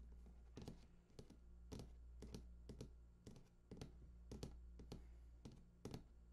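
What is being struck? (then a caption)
Large cardboard box. Fingertips of both hands tap rapidly along the bottom edge of a large, hollow cardboard PS4 console box lying on its side. The result is quick, dry clusters of taps with bright clicky tops and very short decay, irregularly spaced over a steady low hum.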